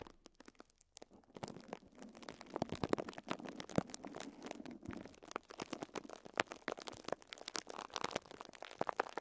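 Fingertips with short nails scratch and crinkle clear plastic cling film wrapped around a pink sponge. Many quiet, sharp crackles and scratchy rustles come in dense bursts over a soft, low-level hiss, without pause throughout.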